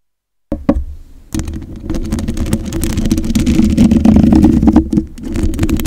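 Long acrylic nails tap and scratch the black metal mesh grille of a condenser microphone, with one hand sometimes lifted away. After a moment of silence, two sharp taps ring out, then a dense, continuous stream of scratching and tapping builds into a steady low-mid rumble with brief dips in level.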